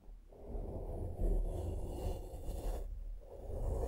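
A small flat makeup brush, held in the fingertips, sweeps across a black foam microphone windscreen. The brushing makes a soft, continuous, low rumbling swish with steady muffled scratching and little high content.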